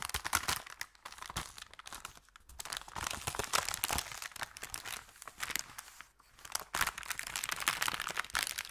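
Hands lift and bend the edge of an empty, thin brown kraft paper bakery bag, crinkling the paper. Dense, bright crackling and crunching bursts come in rapid clusters, with brief quieter lulls near two and six seconds. The sound has almost no low end and stops dead after each crackle.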